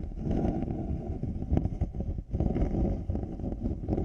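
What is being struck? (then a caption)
Over-ear headphone earcups, plastic shell and faux-leather pads. Large black over-ear headphones, with white-rimmed faux-leather earcups and a plastic shell, sit over a 3Dio binaural mic while fingertips and nails scratch both earcups. The result is a steady, muffled, low-pitched rustling rumble with almost no high end, briefly dipping near the middle before continuing.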